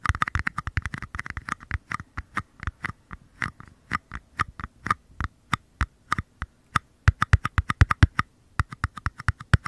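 Short nails scratch and tap the bases of two identical small, empty paper cups held upside down near the microphone. About fifty dry, hollow taps come in quick, uneven bursts, with a low thump and a midrange knock, and very little brightness. Each tap dies almost instantly, leaving brief silences between clusters.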